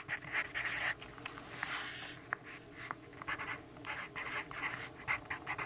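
The graphite tip of a yellow wooden pencil scratches across the page of a lined paper notebook on a table while writing, with the other hand resting on the paper. Quiet, bright, papery scratching comes in short strokes and bursts separated by brief pauses, with a faint steady background hum.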